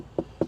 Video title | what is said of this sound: 2023 Acura MDX Type S - What Do You Get For $74,895? | it's not cheap plastic if you knock on it you can kind of hear that it's pretty thick